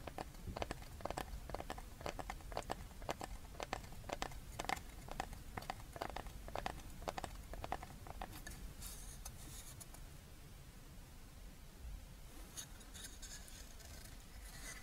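A small, thin, flat, paddle-shaped solid wooden board engraved "HAPPY NEW YEAR" is held upright and tapped with long red-painted fingernails. For about the first eight seconds there are quick, dry, sharp clicking taps with very little ring. After that the sound turns softer, with light scratchy rustling and a few brighter crinkling touches.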